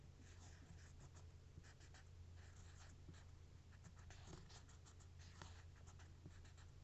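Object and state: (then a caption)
Cork coaster. The capped tip of a plastic marker traces and scratches across the textured surface of a single thin, solid, toast-shaped cork coaster held upright. Soft, dry scratching strokes come in quick, uneven bursts over a steady low hum. The sound stays quiet and even throughout.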